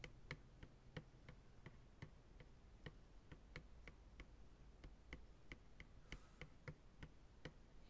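Slow fingertip taps on the rim and sides of an empty, hollow white plastic ice cream pail resting upright on a lap make 22 short, dry ticks. Each tap pairs a bright click with a faint low, hollow thud and dies away almost instantly, over a soft, steady low hum. A brief high hiss rises once near the six-second mark.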